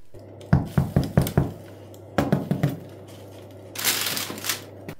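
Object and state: Hollow-sounding baked bread loaf.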